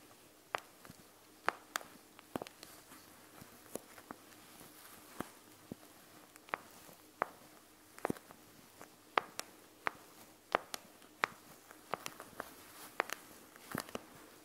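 Two long nails tap the plastic front of a panda gel bead eye mask, right over the gel beads. The result is an irregular string of sharp, bright clicks that die away almost instantly, separated by faint soft rustles over a quiet background hiss.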